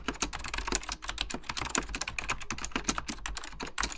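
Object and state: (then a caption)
Plastic mechanical keyboard being typed on. Fingertips type continuously on a beige plastic full-size Apple Extended Keyboard II, pressing hollow plastic keycaps over mechanical switches. A steady, rapid stream of short, bright clacks and taps, each dying away almost instantly, with a faint low rumble beneath.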